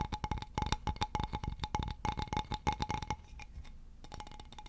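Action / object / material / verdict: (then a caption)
tap / polished wooden board with a hole / wood / none. Fingertips and nails tap and scratch a solid, polished, leaf-shaped wooden board about 30 cm long with a round hole in its center. Quick, dry taps come in rapid, uneven bursts, each carrying a faint ringing tone around 800 Hz. Around the three-second mark they give way to a quieter, softer scratching before the tapping starts again.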